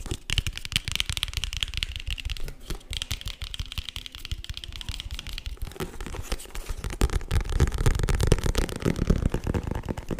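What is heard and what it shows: Fingertips and nails rapidly tap and scratch on a small, hollow green printed cardboard box with a white label. A dense, irregular patter of dry, papery taps runs through with bright scratchy rasping, and it shifts after about five and a half seconds to heavier, more hollow low thumps. Each hit dies almost instantly with no ring.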